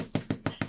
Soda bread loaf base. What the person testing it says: give it a tap and if it's lines nice and crusty and crunchy that's it cooked through